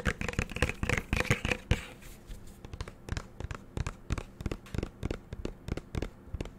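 Fingernails tap and click on the black cap and body of a green plastic shower gel bottle. The first couple of seconds bring a dense flurry of brighter, ringing clicks, followed by sparser, softer dull taps with a low body. Each hit is short and dies away almost at once.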